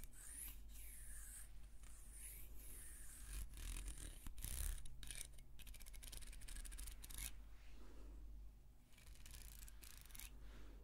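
A small, solid carved wooden hair comb is held up and slowly scratched along its teeth and surface with long red-painted fingernails. Bright, dry scratches sweep up and down, then turn into a quick run of rapid clicking flicks across the teeth before easing into softer scraping. A steady low hum sits underneath throughout.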